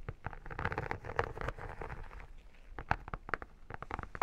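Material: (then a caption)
Vinyl. Long painted nails tap and scratch the embossed holographic vinyl cover of an iridescent textured photo album, close up. Quick, dry clicks of uneven loudness mix with a soft scratchy rustle, with a low, dull body and little high sparkle. Each tap stops almost at once with no ring.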